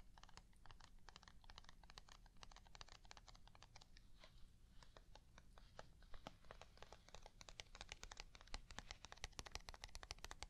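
A small, flat, hollow white plastic box held in one hand is tapped rapidly with long nails, producing a quick run of dry, bright clicks with almost no ring. A steady low hum sits underneath throughout, and the taps grow slightly louder and denser toward the end.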